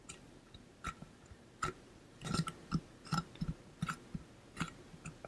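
Fingertips and nails tap quickly along the body of a held-up stainless steel water bottle with a pink-blue ombre coating. About seventeen short, dry taps in an irregular rhythm, each with a low thud and a faint metallic ping that dies away almost at once.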